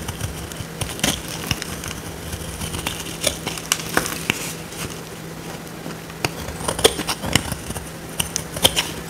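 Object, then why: Bar of soap scraped with a small metal blade. A small metal blade scrapes a solid, dry, oval purple soap bar held in the hand, and dry soap flakes crumble off. Quick, dry, bright scratches and crackles come in irregular bursts over a faint steady low hum.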